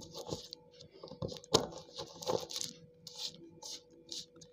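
Water-soaked slate pencil pieces on a tiled floor are pounded and crushed with the end of a hand-held dark green cylindrical tool. Repeated short, gritty, wet crunches and tearing bursts carry a bright, hissy edge over a faint steady tone. The pieces break down into crumbly paste and chunks.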